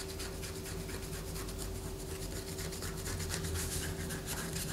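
Long fingernails scratch a solid white bar of soap held upright in a hand above a paper poster. A steady, dry scratching and rubbing continues throughout in quick, loosely even strokes, with bright scratchy streaks over a low, constant hum. The level stays even, swelling slightly in the second half.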